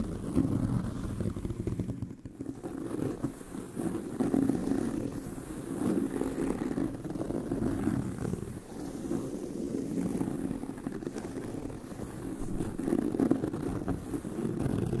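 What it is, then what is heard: Leather handbag. Long nails of both hands scratch across the surface of a tan pebbled leather handbag with stitched seams. The result is a continuous, dull, low-mid scratching and rustling that swells and fades in waves, with little high-end brightness.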